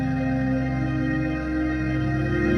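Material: Nothing is struck.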